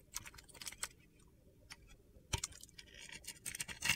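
A solid white Pears-style soap bar with a dark glitter coating, held in hand, is scraped and shaved with a metal utility knife blade. Short, bright, gritty scrapes and crunchy clicks come in irregular bursts over a quiet background, with a louder stroke near the middle and denser, sharper scraping toward the end.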